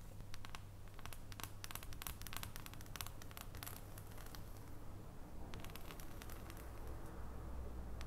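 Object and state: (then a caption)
Dark chocolate bar. Long fingernails tap and scratch the squares of an unwrapped solid dark chocolate bar held above foil. The result is quiet, rapid, bright clicks and scratchy rustles over a steady low hum.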